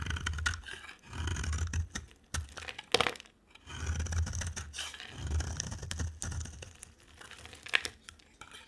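A box cutter blade scrapes and carves shavings off the cut face of a solid, dry, orange-rimmed white soap bar held in hand. Repeated dry, crumbly scraping strokes carry a low rumbling body and a bright, crackling edge, broken by short pauses and a few sharper snaps near 3 and 7.7 seconds.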